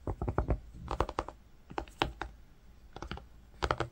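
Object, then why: Woven cotton fabric. Fingertips and nails scratch and tap while tracing on grey-green woven cotton fabric. Short, dry, muffled taps and scratches come in quick clusters separated by brief pauses, with a soft, low-weighted tone and almost no ring.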